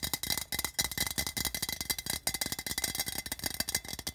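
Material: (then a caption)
Tin. A hollow, patterned printed tin can sits on carpet while both hands rapidly tap and scratch its sides with fingertips and nails. The result is a dense, fast run of bright, metallic clicks and scrapes with very short ring and little low end.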